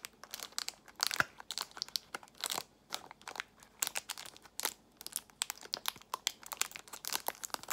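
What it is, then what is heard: Cellophane-wrapped plastic box. A clear plastic box of nail tips in a cellophane wrap is squeezed and scratched with long nails. Bright, crisp crinkles and sharp crackling clicks come in quick bursts with brief quiet gaps, each snap dying away almost instantly. The sound stays light and high, with no low end.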